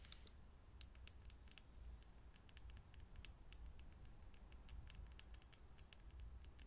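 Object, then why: Glass filament light bulb. A fingernail taps quickly on a lit, hollow, clear glass vintage filament light bulb. Each tap is a sharp, high, bright glassy click that dies away almost instantly, over a faint low background hum.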